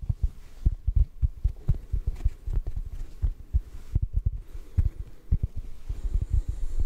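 Fingertips softly tap a large yellow porous synthetic foam sponge block, soft and solid, held over a microphone. The result is a quick, uneven series of dull, deep thumps that die away almost instantly, with no bright or ringing tone.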